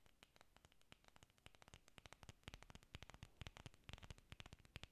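Long nails scratch and tap a solid cluster of green artificial orchid leaves made of foam or plastic. Quiet, rapid and irregular dry clicks and scrapes overlap a soft rustling hiss, each tap short with a dull low thump and a bright edge and no ring.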